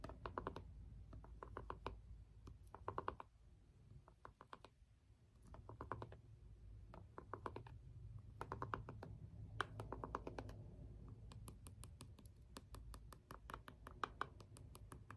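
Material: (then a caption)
Plastic. The end of a small green jade stone roller presses and taps the rubbery buttons of a small, hollow plastic LED remote. Quiet, dry clicks come in quick bursts and clusters, each one short with no ring, over a low, steady rumble.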